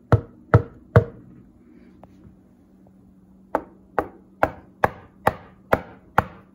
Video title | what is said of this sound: Upgraded Bodega (Model-TWW75) 80-Qrt Portable Fridge/Freezer Cooler. Is this the new KING? | these are not Hollow doors and it's not Hollow sides